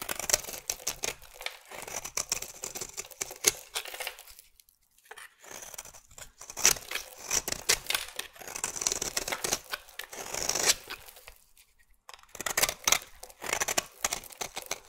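A metal blade scrapes and cuts flakes from the side of a solid, partly carved pink marbled bar of soap. Bursts of dry, crisp, bright scraping and crackling shaving sounds come in dense runs, broken by two short pauses.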